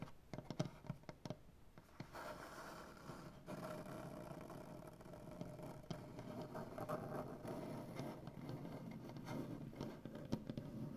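Both hands tap and scratch a solid light-wood butcher block tabletop with medium-length dark-painted nails and fingertips. Quick, dry taps in the first two seconds give way to a steady, grainy scratching that continues to the end, with a few sharper taps mixed in.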